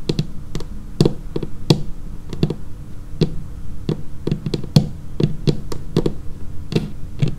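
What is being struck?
Laminated wooden tabletop.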